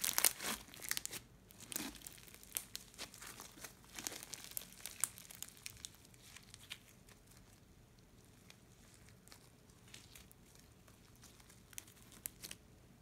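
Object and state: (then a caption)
Crunchy slime with foam beads. Bare fingers squeeze, fold and stretch a fist-sized lump of soft, solid orange glue slime studded with small colored foam beads on a wooden table, pulling it upward and then laying it down in a coil. The beads give off dense, bright crinkly pops and crackles, busiest in the first several seconds before thinning to sparse, quieter snaps.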